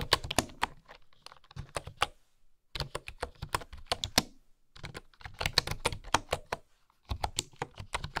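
Fingertips and long nails tap the wooden keys of a full-size bamboo keyboard in quick bursts separated by brief pauses. Each tap is a short, dry, bright click with a soft low thud beneath it, dying away at once with no ring.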